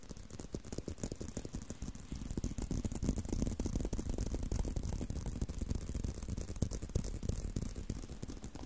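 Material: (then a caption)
Leather. Continuous quick tapping and scratching on a leather belt, a dense stream of short, dry, low-pitched taps with faint bright scratchy texture and no ringing. It gets slightly louder after about two seconds and keeps a steady but uneven rhythm to the end.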